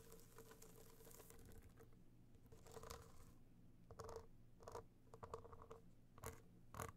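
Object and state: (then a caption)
Hard-shell box clutch. Long nails tap and scratch a small, rigid, hollow gold box clutch covered in metallic material with raised dots, held in one hand. Quiet, dense scratching and patter runs throughout, with sharper taps near the end giving a faint hollow ring.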